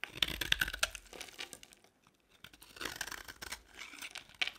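A box-cutter blade scrapes flakes off a solid beige bar of dry soap held in the palm. The result is a run of bright, crisp, crackly scraping strokes, then a brief near-silent pause before more scraping resumes, ending with a sharp final scrape.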